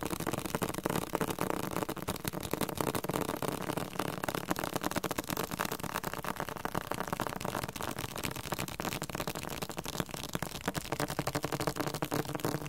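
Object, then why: Hardcover book with cardboard cover. A hardcover book with a cardboard cover is tapped aggressively, producing a rapid, uneven stream of dry, papery knocks. Each tap is short and dies away almost instantly, with a dull mid-range body and little ring, at a fairly quiet, steady level throughout.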